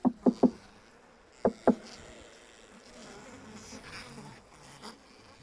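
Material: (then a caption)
Wood. Someone taps five times on the third wooden beehive: three quick knocks, then two more, each with a sharp, low, woody thump. A soft, steady hum of buzzing bees answers and lingers afterward, showing the colony inside is alive.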